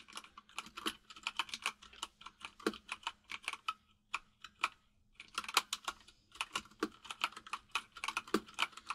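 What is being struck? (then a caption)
Mechanical keyboard with plastic keycaps. Both hands type rapidly with their fingertips on a white full-size mechanical keyboard with plastic keycaps resting on a desk. The keystrokes are sharp, bright clicks with almost no ring, coming in quick bursts with a brief pause near the middle.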